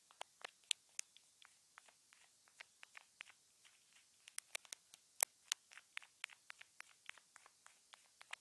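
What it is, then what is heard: Plastic earphone remote. A wooden stick taps and scratches along a small hollow white plastic earphone remote with a mic hole, taped down with clear tape. Sharp, dry clicks and ticks are heard, about two dozen in quick irregular succession, bright and high with no low end and almost no ring.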